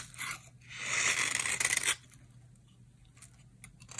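A utility knife blade scrapes powdery shavings from a dry, solid orange bar of soap held in the hand. A short scrape comes first, then a louder, longer dry crunching rasp with bright, gritty texture. After that, only faint scratches follow.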